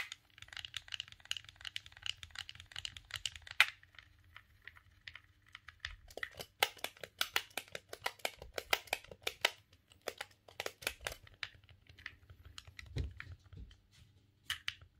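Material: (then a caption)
Plastic. A silver, hollow plastic GameCube controller is held in both hands while a thumb clicks the A, B, X and Y buttons over and over. The result is a quiet stream of short, bright plastic clicks in fast runs, with a brief lull around four to six seconds and a faint low hum underneath.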